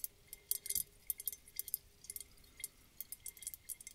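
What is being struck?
Round glass bottle partly filled with water.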